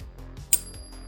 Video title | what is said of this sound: Silver prize from TSC | lovely little ring. Can you hear that? Beautiful. Definitely silver.